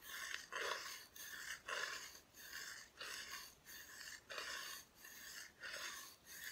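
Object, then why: Bare wooden back of a flat cutout decoration. Long nails scratch and rub across the bare, unfinished wooden back of a flat, solid Christmas decoration cutout. The result is a steady series of dry, raspy strokes with a hissy, bright texture and almost no low end, each stroke swelling and fading in an uneven rhythm.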